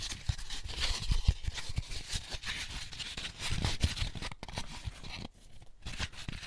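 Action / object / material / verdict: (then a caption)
scrape / molded paper pulp egg carton / paper pulp / none. Fingertips rub and scratch the textured underside of an empty white molded paper pulp egg carton with hollow cups. The result is a dry, papery scratching and rustling with brief soft taps and low thumps, continuing without a break over the whole clip.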